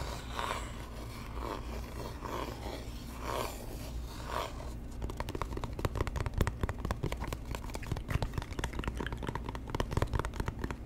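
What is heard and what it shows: A small, hollow, empty-looking white cardboard box is held close to the microphone and worked with the fingertips and nails. For the first few seconds, slow rhythmic scratches sweep across its surface in soft, breathy strokes. Then come fast, dense taps and clicks over a steady low hum.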